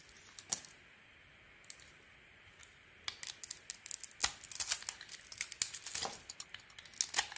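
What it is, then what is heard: Bar of soap being shaved. A solid bar of soap with a gold glitter coating and a cream interior is held in the hand and shaved with a metal utility-knife blade. After a near-silent start with a few faint scrapes, a dense run of crisp, bright, crackling cuts fills the second half. Each cut is short and dry, with no ring.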